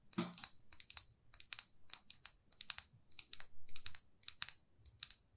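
Long nails tap and scratch a small, glossy red lacquered lipstick tube in a quick, uneven series of sharp, bright clicks. Each tap is dry and dies almost instantly, with faint soft scraping between the taps.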